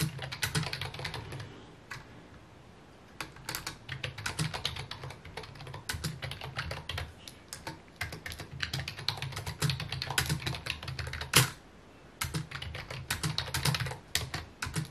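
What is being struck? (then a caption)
Plastic computer keyboard. Fingertips type on a full-size white plastic computer keyboard with mint keycaps resting on a wooden desk. Quick, dense key taps produce bright, short clicks over a steady low hum. The typing pauses briefly around two to three seconds and again near twelve seconds, and one louder keystroke stands out just before the second pause.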